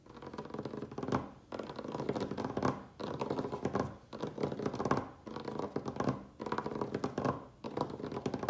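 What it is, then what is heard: Wooden tabletop scratched and tapped. Fingertips and nails of both hands rapidly scratch and tap the surface of a large, solid, rustic wooden tabletop. Dense, dry scratching and tapping comes in repeated bursts with short dips between them. The sound is mostly mid-range and warm, with little bass and almost no bright top.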